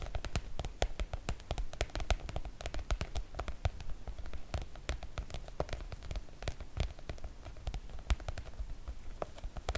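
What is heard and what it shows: Long coral nails on both hands rapidly tap and scratch the surface of a floral PVC-coated oilcloth make-up bag. A dense stream of quick, dry taps with soft low thumps and sharp, bright clicks runs over a faint scratchy hiss, each tap dying almost instantly.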